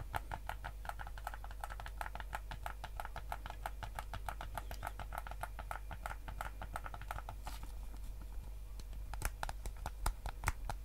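Fingertips tap and click the buttons of a white PS5 DualSense controller, a hollow hard plastic shell held in both hands. A quick, steady run of short, dry plastic clicks with a mid-range snap goes on over a constant low hum. The clicks thin out briefly near the end before a few sharper, brighter taps.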